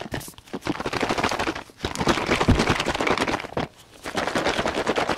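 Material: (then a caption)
Plastic. A large, light-blue plastic soap bottle, hollow and partly filled with liquid, is held in both hands and shaken and tilted close to the microphone. Fast, dense sloshing and gurgling bursts of liquid against the plastic come in rapid runs, with brief pauses near 1.7 and 3.7 seconds.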